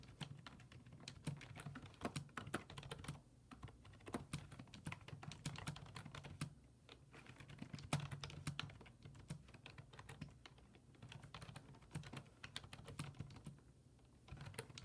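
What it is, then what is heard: Plastic computer keyboard. Fingertips type rapid key presses on a black plastic full-size desktop keyboard with low-profile keys resting on a wooden desk. Dense, sharp clicks and clacks run through the clip with brief lulls, over a steady low hum.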